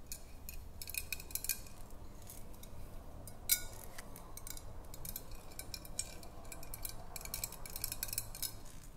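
Long nails tap and scratch along the body of a hollow, clear glass swing-top bottle held sideways. Quiet, rapid bright clicks and light scratching come in clusters over a low background rumble, with one sharper, louder tap partway through.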